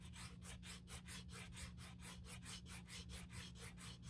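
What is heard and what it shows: A small strip of sandpaper held in the fingertips is rubbed back and forth along the inner rim edge of an open, empty black grained leather Saint Laurent handbag being repaired. The result is a steady series of quick, dry, bright scratching strokes over a faint low hum.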